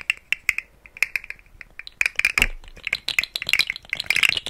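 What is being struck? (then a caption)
Plastic articulated fidget slug toy. A rainbow segmented plastic articulated fidget slug toy hangs from a hand to the left of the mic and is wiggled so its hollow segments rattle. Quick, dry plastic clicks come in sparse bursts at first, then grow denser and busier toward the end. The sound is bright and clattery, centered around 2 kHz, with almost no low end and no ring after each click.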